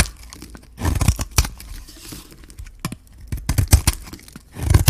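A metal blade shaves curls off a hand-held, solid, gold-coated bar of pink dry soap. Crisp, dry scraping and tearing bursts come in quick uneven clusters, each with a bright crackle over a soft low thump. The sound stops short between strokes with almost no ring.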